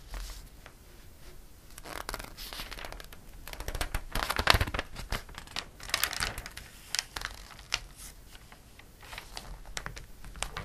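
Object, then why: Glossy paper catalog. A palm rubs the pages of a glossy paper catalog and a page is turned, giving soft, dry crinkling and bright papery hiss. Louder rustling bursts with sharp crackles come through the middle of the clip, then it settles back to quieter rubbing.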